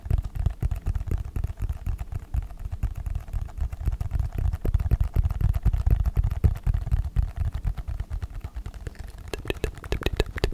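A small, hollow, rectangular red and white cardboard smartphone box is held in one hand and tapped or scratched with the fingertips of the other, close to the microphone. Quick, uneven, deep hollow thumps come about four per second, each dying away almost at once, with brighter clicky taps near the end.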